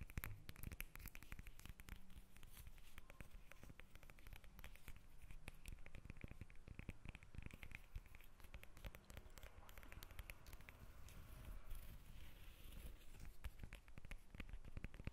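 Long nails scratch and tap the textured peel of a whole yellow lemon held in the hands. A quiet, steady stream of rapid, crisp taps and scratches continues throughout, with most of the energy in the low end.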